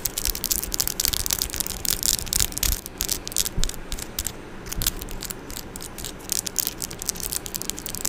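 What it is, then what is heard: Metal microphone grille being scratched. Long orange nails on both hands scratch and tap the metal mesh grille of a silver microphone, making a dense stream of crisp, bright scrapes and clicks. Quick taps stand out over the scratching, with some low thumps underneath, and each sound stops almost instantly.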